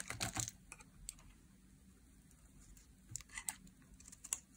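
A utility knife blade peels curled slices off a solid bar of translucent pink glycerin soap held in the hand. Each cut gives a short, crisp, bright crackling scrape, with a cluster of cuts at the start and more scattered through the clip. Quiet pauses fall between the cuts.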